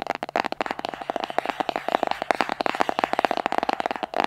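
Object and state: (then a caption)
Cardboard box tapped with fingernails. Fingernails tap and scratch the surface of a small, hollow white cardboard box held in both hands. The result is a rapid, irregular run of dry, sharp taps with a hollow mid-range tone, interspersed with faint scratchy rustling.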